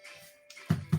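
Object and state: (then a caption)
Hollow-sounding baked bread loaf (done). Two quick knocks tap the underside of a freshly baked wholemeal artisan loaf, giving short, low, hollow thuds that die away almost at once. The hollow sound shows the bread is baked through and ready.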